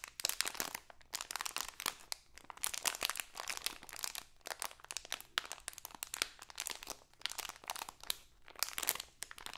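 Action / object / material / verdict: scrape / thin plastic bag / plastic / none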